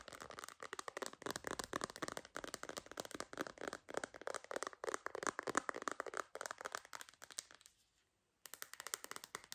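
Long green nails rapidly tap and scratch an empty clear hard plastic phone case with a purple bumper and a MagSafe ring. The result is a dense run of crisp, bright clicks and scrapes centered in the midrange. They pause briefly near the end, then resume.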